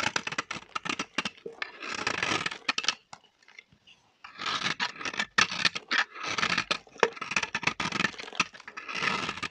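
A small, solid, dry orange soap bar is held in the hand while a metal blade cuts pieces off it and scrapes its surface. Bursts of short, dry, crunchy cracks alternate with longer bright scraping passes, with a near-silent pause around the fourth second.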